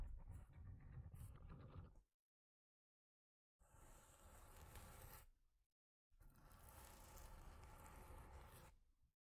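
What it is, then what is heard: Corrugated cardboard block being scratched. Long nails scratch along the top edges of a solid, scratcher-like block of stacked corrugated cardboard. Three separate passes of dense, rough rasping are heard, rumbling low with a bright hiss on top and short silences between them.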